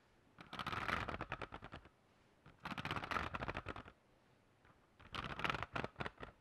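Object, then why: Hardcover notebook with metal spiral binding. Fingertips and nails scratch and tap the hard cover and metal spiral binding of a medium-size black hardcover spiral notebook held near the mic. Three bursts of quick, dry, crackly taps and scrapes with bright highs come in rough rhythm and stop dead with no ring, separated by short silent pauses.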